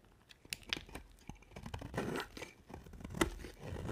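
A hand with long nails holds a solid white bar of dry soap with a dark coated edge and shaves it with a box-cutter blade. Repeated crisp, crunchy scrapes and cuts are heard, with sharp brief clicks and a bright, papery tearing texture over a soft low rustle.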